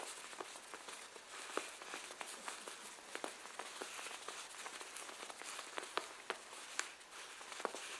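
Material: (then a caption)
Leather. Two gloved hands, one in white cotton and one in black, rub and press the soft leather beside the zipper on the front of a black leather jacket laid flat, with a pinned button nearby. The result is a quiet, steady rubbing hiss broken by scattered sharp crinkles and crackles.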